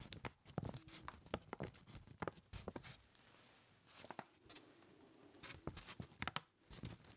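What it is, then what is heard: Paper bag. Fingertips tap and rub a crumpled brown kraft paper lunch bag, hollow and folded over at the top, held up in front of the face with both hands. Quick, dry papery taps and crinkles come in uneven bursts, with a softer stretch of hissing rubbing in the middle. The taps are bright and brittle over a faint low thump.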